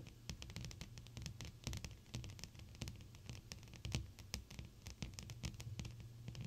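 Long pointed blue acrylic nails tap rapidly on a large flat clear glass sheet with both hands, fingertips pressed flat against the glass. The result is a dense run of short, sharp, bright clicks and light scratchy ticks with almost no ring, over a steady low hum around 120 Hz.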